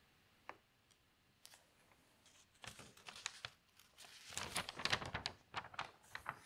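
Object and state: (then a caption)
Newspaper page being turned. Fingers with long nails lift and turn a page of newsprint newspaper lying on a table, crinkling the paper. A few faint, isolated ticks give way to quick bursts of bright, dry rustling and crackling that grow denser and louder toward the end.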